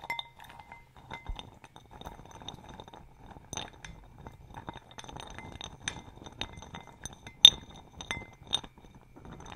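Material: Glass.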